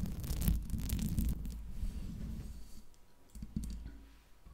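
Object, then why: Metal mesh microphone grille. A large silver Blue Yeti USB microphone, with a hollow metal mesh grille and metal body, is tapped and scratched by long acrylic nails on the grille. Dense bursts of quick clicking taps and scratchy rustling carry a heavy low-end thump, busiest in the first second and a half. The sound then thins to sparser taps and softer scratching.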